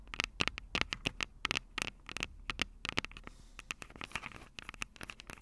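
Long purple nails scratch and tap the metal microphone capsules of an upright Tascam DR-05 recorder, with fingers wrapping around the capsules. Quick, sharp clicks and taps come in irregular bursts over a soft scratchy rustle. The sound is bright with little low end and each tap dies away almost instantly.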